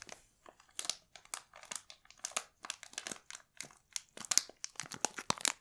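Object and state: Plastic candy bag crinkled.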